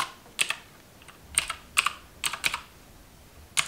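Long white acrylic nails and fingertips type and tap on the keys of a black plastic mechanical-style computer keyboard resting on a pink plastic table. Sharp, bright plastic clicks come in short pairs and clusters separated by quiet pauses, each click dying away almost instantly.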